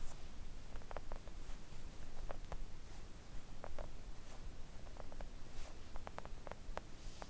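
Long acrylic nails gently tap a flat pink silicone nail art mat lying on a table. The result is a series of soft, short, dull clicks with almost no ring over a constant low rumbling background.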